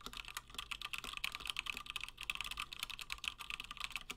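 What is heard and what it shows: Fingertips of both hands type continuously on a 60% plateless Gingham mechanical keyboard with Gateron Black switches and cream and blue PBT plastic keycaps. The result is a steady stream of short, bright, clacky keystrokes, each with a crisp click centered around 2.5 kHz that dies away almost instantly, over a faint low hum.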